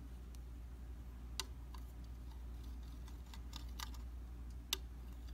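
A round glass tabletop makeup mirror of solid flat glass is tapped with the tip of a slim metal, tweezers-like tool. Light, sparse clicks with a bright tone around 3.5 kHz die away almost at once, with two taps standing out louder than the rest. A steady low hum runs underneath throughout.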